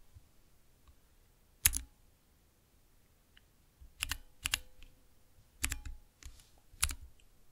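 Long nails and fingertips press the keys of a small, transparent acrylic 9-key mechanical keypad with Cherry MX switches, resting on black cloth. Sharp, bright clacks with a low thud underneath come singly and in quick pairs, each dying away almost instantly, separated by near-silent pauses.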